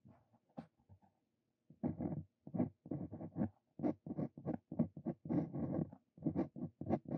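A steel Brause Cito Fein dip pen nib scratches continuous handwriting strokes across a thin, flat paper card resting on a wooden desk. Quiet, dry scratching comes in short bursts of many quick strokes, separated by brief pauses and one longer silence near the start.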